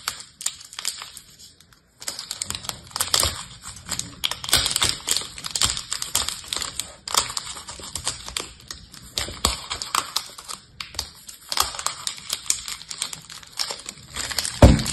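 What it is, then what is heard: Plastic-wrapped pack of paper-wrapped soap bars. A multipack of small paper-wrapped bar soaps, bundled in clear plastic film, is held in the hands and scratched and picked at with long painted nails or a thin tool, while two boxed soaps sit nearby untouched. Dense, bright crinkly scratches and quick clicky taps carry on throughout, broken by a short silent gap near the start. A sharper, louder tap stands out just before the end.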